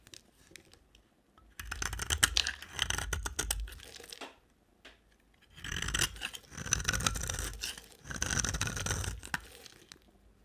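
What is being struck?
Bar of soap shaved with a blade.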